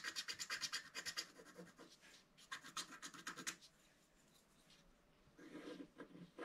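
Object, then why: Black-coated scratch-art card scratched with a wooden stylus. A wooden stylus scratches the lower petal area of a flat black-coated scratch-art paper card, making rapid, dry, bright scraping strokes in quick bursts. The scratching pauses into near silence for about a second before a softer, duller stroke closes the clip.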